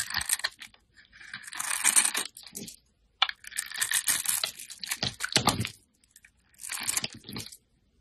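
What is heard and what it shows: A metal utility blade carves and scrapes shavings off a handheld solid bar of white soap marbled with pink and teal. Bursts of bright, crisp scraping and crackling sweep along the surface in several separate passes, with short quiet pauses between them.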